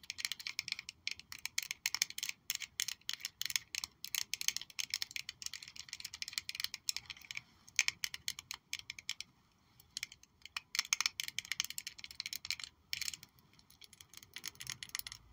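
A small purple faceted glass perfume bottle with a gold-toned cap is held in both hands and tapped with long nails. Quick, bright, clicky taps come in dense bursts with almost no ring, pausing briefly near the middle before resuming.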